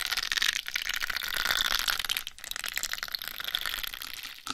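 Long white nails tap and scratch the sides of a hollow egg-shaped microphone cover covered in pink plastic rhinestones. A dense, bright crackle of quick clicks and scraping runs throughout, dipping briefly partway through, with almost no low end.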